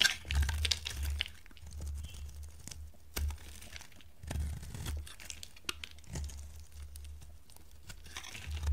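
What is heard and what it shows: A dry pink solid bar of soap is held in the hand while flakes are shaved off it with a metal box-cutter blade. Dry, crisp scraping and crunchy tearing strokes come with bright crackles and short low thumps. The clip ends with a louder scrape.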